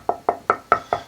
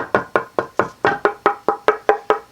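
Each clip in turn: First: Five even knocks with a firm midrange tone and a brief ring; a hard ash body blank with modest tap tone. Second: A dozen quick, even knuckle taps on a swamp ash guitar body, each leaving a clear mid-pitched ring.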